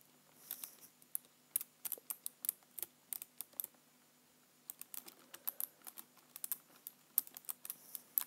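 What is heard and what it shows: Fingertips type on the right-side keys of a black plastic computer keyboard. About thirty quiet, bright, short clicky taps come in quick, uneven bursts, with a brief pause near the middle. Each tap dies away almost instantly with a faint low hum underneath.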